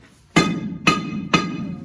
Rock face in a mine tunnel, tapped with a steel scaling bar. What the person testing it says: Hear that hollowess in there, guys? That means there's fractures back there.